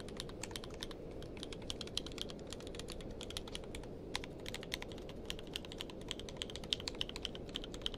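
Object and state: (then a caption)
Mechanical keyboard with plastic keycaps. Fingertips of both hands type continuously on a tenkeyless mechanical keyboard with plastic keycaps. Rapid, short, bright clicks with almost no ring sit over a steady low rumbling background for the whole clip.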